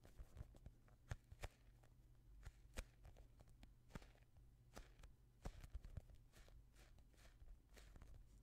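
A palm-sized, soft, solid polyurethane foam squishy toy shaped like a yellow and green fruit is squeezed and rubbed with the fingertips of both hands in front of the microphone. The result is a quiet, low rumbling handling noise dotted with many short, sharp, bright crackling ticks.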